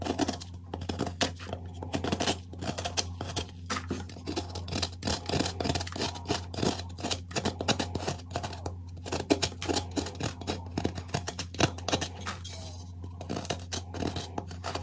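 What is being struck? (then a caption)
Magnesium carbonate gym chalk block scraped with a metal spoon. A metal spoon scrapes and carves powder out of the hollowed-out middle of a solid, square white gym chalk block (magnesium carbonate), held in one hand over a black bowl. Rapid, dry, gritty scratches come in dense bursts across the whole clip, over a steady low hum.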